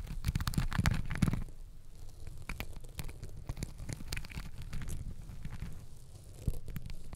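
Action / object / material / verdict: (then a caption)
scrape / glitter fabric elastic hair ties on a microphone / fabric elastic / none. Long acrylic nails scratch and squeeze pink and green glittery fabric elastic hair ties wrapped around a microphone head. The result is a dense, low, rumbling crackle of scratches, louder in the first second and a half and again near the end.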